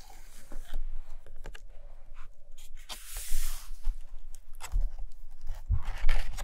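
Long fingernails tap and scratch across the glossy printed pages of an open hardcover photo book lying on a carpet. Irregular dry taps and short papery scrapes are heard, with a longer bright scratch in the middle and soft low thumps underneath.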